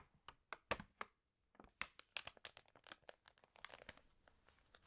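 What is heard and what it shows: Long nails scratch and fingertips turn and crinkle the pages of an open, water-damaged glossy paper fashion magazine. Sharp, bright crinkles and crackles come in irregular bursts, with a brief pause near the middle before denser rustling resumes.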